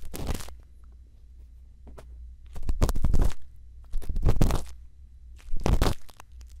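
A thin bamboo earpick scrapes inside the ear canal of a white silicone ear microphone, making four main bursts of close, crackly scratching with a faint tick in between. Each burst is full of dry, bright rustle and crunch over a steady low hum that fills the pauses.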